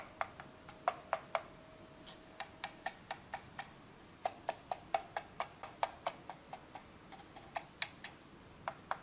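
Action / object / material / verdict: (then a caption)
tap / plastic computer mouse / plastic / none. Fingertips tap and scratch the shell and buttons of a small, hollow, black plastic Logitech G100s gaming mouse with a textured side grip, held in the hands. About 28 quick, dry, clicky plastic taps come in uneven bursts, each with a bright, hollow snap that dies out almost instantly. A faint, steady hiss sits underneath.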